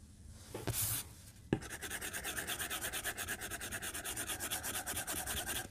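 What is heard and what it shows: A white plastic stylus tip is stroked across the glass screen of a tablet lying flat on a desk while drawing lines. After a faint scratch and a brief bright swish, a sharp tap starts a steady run of quick, rhythmic scratchy strokes with a bright, rasping texture.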